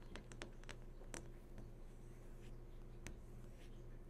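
Long nails tap along the glossy surface of a large, switched-on flat-screen TV near its lower edge, making quiet, bright, short clicks in an irregular scattered rhythm. A steady low hum and a faint tone run underneath throughout.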